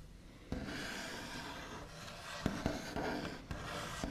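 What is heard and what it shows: The backs of fingernails rub and trace across the large, solid, smooth top of a white-finished wooden table, making a steady, dry, scratchy hiss with brighter rasping texture. Five sharp, brief taps or scrapes stand out over the rubbing, each dying away almost at once.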